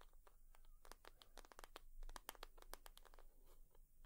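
Long nails tap and scratch across a leather purse, making a quick, irregular run of sharp, crisp clicks with a dry scratchy texture. The taps are short and bright with almost no ring, over a faint low hum.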